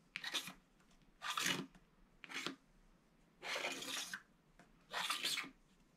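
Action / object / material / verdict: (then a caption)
scrape / wax-coated foil scratch-art card / wax on foil / none. A pointed wooden stylus scratches diagonal hatching lines through the black wax coating of a small, thin, flat rectangular Winnie the Pooh scratch-art card with gold foil paper beneath. The card lies on a paper-covered table, held down by one hand. Five separate bursts of bright, dry, hissy scraping are heard with quiet pauses between them, revealing the gold foil.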